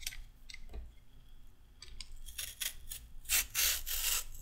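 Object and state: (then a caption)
Raw carrot being peeled. A short raw carrot is peeled with a pink-handled peeler with a metal blade. Quick, bright scraping strokes rasp in a loose rhythm, growing louder and denser toward the end.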